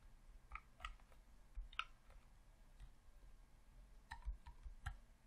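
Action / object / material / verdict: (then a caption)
tap / plastic game controller / plastic / none. Fingertips press the D-pad and buttons on a hollow red plastic Xbox controller, producing light, sharp plastic clicks. The clicks are quick and dry, with brief tonal peaks in the midrange and some bright edge, over a low, quiet background rumble.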